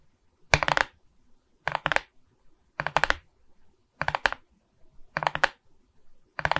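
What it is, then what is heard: Resin bead diamond painting tapped with fingernails. A framed resin-bead diamond painting on board, held in both hands, has its beaded plastic surface scratched and tapped with long red nails. The sound comes in six short bursts of quick, bright clicking and rattling, with near silence between them.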